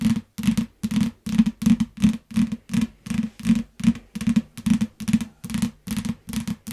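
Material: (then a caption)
Paper. Fingertips and long nails tap and scratch the glossy back cover of a solid yellow hardcover paper book lying flat on a grey mat. A steady run of short, dry bursts of tapping and scratching repeats about every half second, each with a low, hollow thump and almost no ring afterward.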